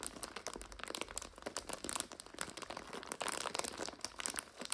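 Fingers with long nails squeeze and crunch an upright plastic bag full of dry egg noodles, crushing the noodles inside. The result is a steady stream of bright, crisp plastic crinkles and brittle crunches with very little low end.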